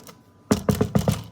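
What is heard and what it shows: A sourdough loaf straight out of the oven is knocked on, giving a quick run of six dull, low, hollow thunks with little ring. The hollow sound shows the loaf is baked through and done.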